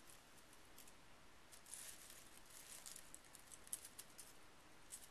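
An index finger and fingertips poke and stir a pile of small metal scrapbooking brad fasteners resting on a bamboo mat. The pieces give soft, bright clinks and faint rustling over a low, quiet background. The taps are short, with almost no ring.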